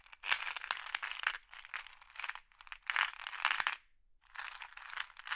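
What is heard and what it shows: A hand with long blue nails sweeps and rakes through a pile of small, solid, flat glass pebbles in a large wooden tray. Dense, bright clicking and clattering comes in several rustling bursts separated by short pauses, with no low end.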